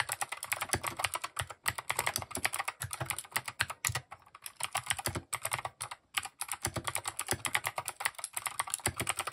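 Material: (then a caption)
Plastic. Fast fingertip typing on a compact mechanical keyboard with plastic keycaps produces a dense stream of short, bright clicks and clacks. The keystrokes come in quick bursts with brief pauses between runs, each one dry and decaying almost instantly.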